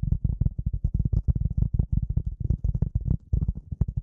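A rectangular gray polyethylene foam sheet, held close in front of the microphone, is tapped and scratched with the fingertips and nails of both hands. It makes a rapid, uneven series of soft, deep, muffled thumps that stop dead with no ring, with only faint brighter scratchy ticks above them.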